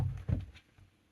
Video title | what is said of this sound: Storing Your Backup Hard Drive - KiwiFotos Hard Drive Case | even this size Drive is also held firmly in place